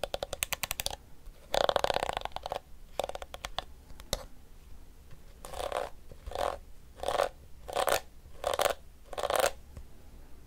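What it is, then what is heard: Plastic detangling hairbrush. The pink flexible plastic teeth of a small blue detangling hairbrush are strummed and scratched with fingertips and nails. Quick runs of bright ticking clicks and a dense, raspy scrape come first, followed by six steady, evenly spaced swishing scrapes with a midrange ring.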